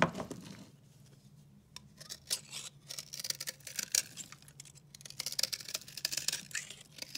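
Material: Soap.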